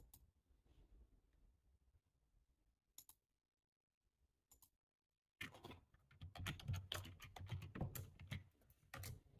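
A black, low-profile plastic computer keyboard with a hollow body is typed on with fingertips and short nails. A few faint, sparse key taps and two isolated clicks are followed by near silence, then a burst of quick, dense typing with sharp, hollow plastic clacks and a soft low thump under each keystroke.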